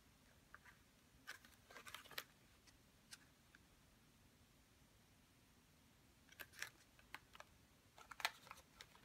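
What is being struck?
Small cardboard box.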